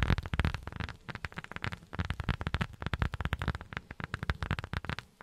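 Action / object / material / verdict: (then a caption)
tap / rubber sheet tapped with silicone pads / rubber / none. A rubber sheet is tapped quickly with silicone rubber finger pads, producing a rapid, uneven series of soft, dull taps. The sound is mostly low and muffled, with each tap dying away almost instantly and no ringing.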